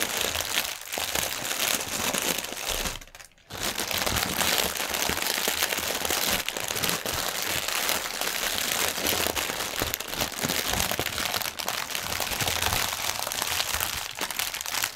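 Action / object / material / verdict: scrape / polyethylene air cushion packaging / polyethylene film / none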